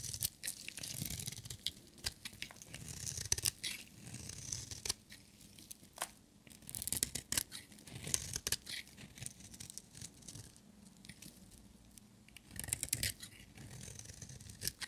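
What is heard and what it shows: A metal utility knife blade shaves a solid, dry orange and white striped bar of soap, cutting off crumbly flakes. Bursts of crisp, bright scraping and crunching alternate with short quiet pauses, each stroke ending sharply with almost no ring.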